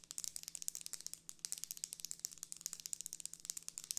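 Long red nails rapidly tap and scratch the plastic guard sticks and folded edge of a closed folding hand fan with a pink plastic frame and printed paper leaf, held upright. It makes a fast, steady stream of sharp, bright clicks with a dry rattle and crinkle, all high-pitched and quiet over a faint low hum.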